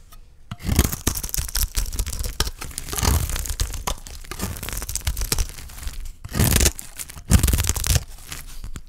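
A dry, stamped green olive soap bar held in the hand has its surface shaved off with a utility knife blade, and flakes peel away. Rough, tearing scrapes come in quick, overlapping strokes, each a bright rasp over a low thud. Louder bursts stand out near the end.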